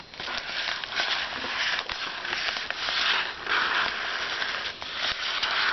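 Fingertips drum and tap on the paper surface of a flat white paper padded mailer holding a book, resting on a desk while a hand lies on it. The result is a steady, bright, crinkly papery rustle with soft tapping bursts running throughout, with almost no low end.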